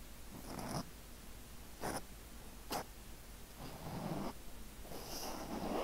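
Fingertips gently scratch and rub a black foam windscreen on a microphone, making soft, breathy rustling swells with a low rumble and faint bright hiss. Two short, sharper scrapes fall between longer, muffled rubbing passages, over a steady low hum.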